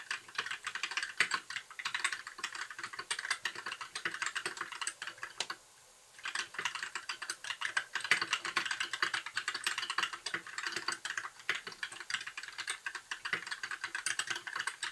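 Fingertips of both hands type continuously on a compact white mechanical keyboard with backlit plastic keycaps. The result is a dense stream of quick, bright plastic clicks and clacks with almost no low end, broken by a brief pause near the six-second mark before the typing resumes.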